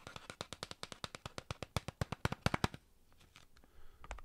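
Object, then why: Cardboard chip can. A tall, hollow cylindrical Pringles Sizzlin' can, a cardboard tube with a metal base and plastic lid, is held in the hands and tapped with fingertips and nails along its side. A quick, steady run of short, dry taps with a low hollow thump and bright clicky edges plays for nearly three seconds. It is followed by faint rustling and a few soft final taps.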